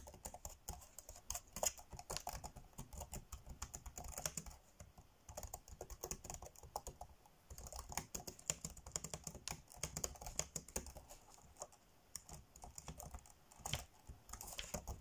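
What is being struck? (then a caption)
Plastic laptop keyboard keys. Fingertips tap fast on the dark grey plastic chiclet keys of a laptop keyboard, typing. The result is a dense, steady stream of short, dry, bright clicks with soft low thuds underneath, easing off briefly at a few moments before picking up again.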